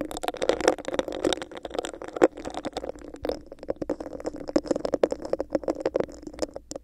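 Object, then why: Clear textured plastic cup. Long nails scratch and tap a hollow, textured clear plastic cup with a bumpy surface held over the microphone. Dense, rapid clicky taps and scrapes overlap in a steady, hollow, plasticky rattle with a resonant mid tone, each tick dying away almost at once.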